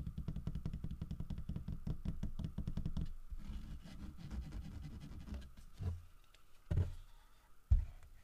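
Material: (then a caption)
Wood. Fingertips knock and tap the body of a large, solid carved wooden bear figurine while it is handled. A fast run of dull, deep taps for about three seconds gives way to softer, scattered tapping, then a few louder, heavier thumps near the end. Each hit is short and muffled with almost no ring.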